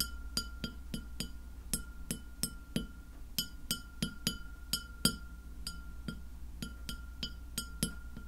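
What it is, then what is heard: Glass plate tapped with fingernails. Long fingernails on both hands tap a white glass plate lying flat near the microphone, making a steady series of sharp, bright clinks that die away almost at once. A low hum and a faint steady tone run underneath the whole time.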